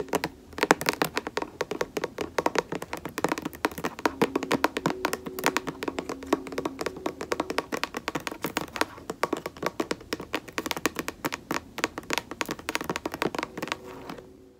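Long nails tap rapidly and continuously on the front label area of a white plastic lotion bottle held horizontally. The taps are short, dry and clicky, with a hollow mid-pitched tone near 445 Hz and almost no ring. They vary slightly in loudness and run steadily for about 15 seconds.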